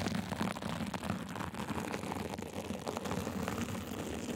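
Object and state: Sequin fabric.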